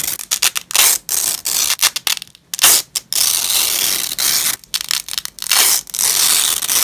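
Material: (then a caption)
Nylon. Black-gloved hands peel joined purple nylon hook-and-loop strips apart on grey cloth, producing a series of tearing rips. The rips alternate between short bursts and longer sustained pulls, each a bright, crackly ripping sound with almost no low end.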